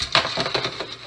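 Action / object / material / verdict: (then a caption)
shake / roasted chickpeas in a pan / chickpeas / crispy. A pan of chickpeas, tossed in oil and creole seasoning and roasted for an hour at 350 on convection, is shaken. It gives a dry, bright, crunchy rattle in quick bursts that fade fast, showing the chickpeas are crispy.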